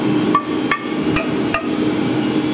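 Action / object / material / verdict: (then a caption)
strike / wooden baseball bat billet / wood / none. Wooden baseball bat material is struck with a hammer at a bat factory to hear its ringing tone, since top players prefer material that rings with a high note. Several sharp taps each give a brief, bright ring around 1.1 kHz over a steady background hum.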